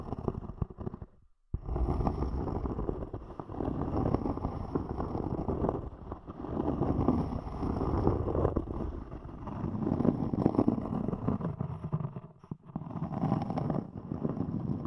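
A thick, round, solid palm-sized cork disc has its top surface scratched by long nails, giving a dense, low, crackling scrape. The scratching runs almost continuously, broken by brief pauses near 1.5 seconds and 12.5 seconds.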